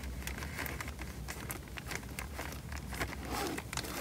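A small, square, clear plastic bag full of water is held above the mic in both hands and pressed and rubbed with the thumbs. It makes a steady run of soft crinkling and squishing with quick bright crackles over a low, constant rumble.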